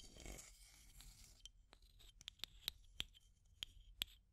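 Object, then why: Small plastic tube with aluminium screw lid. Long nails scratch and tap a small clear plastic tube container with an aluminum screw lid, working along the lid rim and the tube. A soft, bright scratching rustle in the first second and a half gives way to a series of sharp, clicky taps. Each tap carries a brief metallic ping at about 3.3 kHz.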